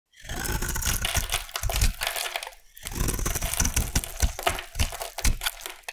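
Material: Soap.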